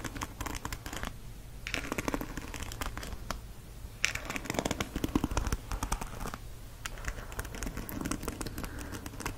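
Fingertips and nails strum and scratch across the many ball-tipped plastic bristles of a black and teal plastic paddle hairbrush held over a fleece blanket. Dense bursts of quick, dry plastic clicks and crackly scratching come in waves, with brief quieter stretches between them. A low rumble sits underneath throughout.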